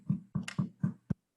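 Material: Bread.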